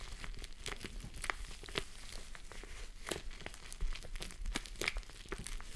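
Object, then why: Plush fabric face mask. Long nails scratch and fingers rub a pink plush fabric face mask on a mannequin head. The result is a steady stream of soft, crinkly rustling, broken by quick, bright scratch strokes over a faint low rumble.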